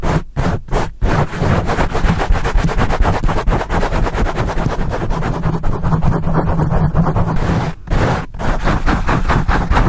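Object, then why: Foam microphone windscreen. Fingertips and nails of both hands scratch fast across a black foam microphone windscreen. The result is a dense, rapid, muffled rustling with heavy low rumble and little high end, interrupted by a few brief gaps near the start and just before the end.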